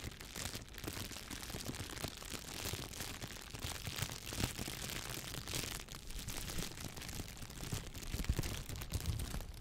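A clear, thin plastic shower cap with an elastic edge, empty and hollow, is held in one hand and squeezed with fingertips with pink painted nails. It makes a steady, dense crinkling and crackling with bright, hissy highs over a low rumble, continuing without pause for the whole clip.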